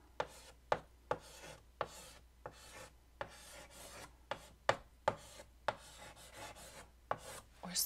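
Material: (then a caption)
Chalk. White chalk held in the fingertips writes across a large, flat black chalkboard in a wooden frame. About 14 sharp chalk taps land at an irregular pace, each followed by short, dry scratching strokes with a bright, hissy texture. A quiet, steady low hum sits underneath.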